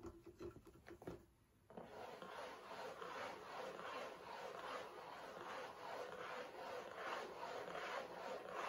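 Fingernails tap and scratch the sides of a hollow, rectangular printed cardboard tissue box that holds tissues and rests on a table. A few light taps and scrapes come first, then after a short quiet moment a steady, rhythmic rasping scratch continues to the end, with a dry, papery midrange tone.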